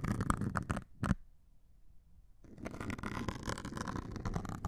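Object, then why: Melamine foam sponge with abrasive scouring layer. A metal needle scratches the grey abrasive top of a hand-held white melamine foam sponge. Dense, rough scratching comes first, then a sharp burst, a near-silent pause, and steady scraping that runs to the end. The noise is broad and grainy with a strong low rumble.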